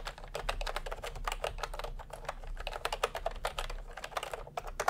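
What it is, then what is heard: Plastic round-key keyboard being typed on. Both hands type continuously with their fingertips on a plastic, retro-style "milk-tea" keyboard with round keycaps. The result is a rapid, steady stream of short, dry plastic clacks centered in the mid-range around 700 Hz. Each click decays almost instantly over a faint low rumble.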